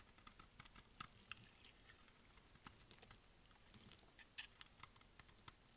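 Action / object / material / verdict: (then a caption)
scrape / bar of soap cut with a blade / soap / none. A utility blade cuts and shaves the edges of a solid, dry pink bar of soap held in the hand, and flakes fall away. Quick, dry, crisp scraping ticks come in an irregular patter, each one short and bright with almost no ring, over a faint low hush.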